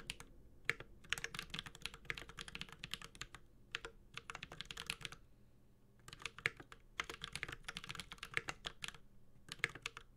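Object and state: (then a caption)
Mechanical keyboard being typed on. A Space65 Cybervoyager 65% mechanical keyboard with Holy Panda switches, an aluminum case and plastic keycaps is typed on with the fingertips of both hands. Rapid, bright, short key clacks come in dense bursts with brief pauses between them, each tap dying away almost instantly, with little low end beneath.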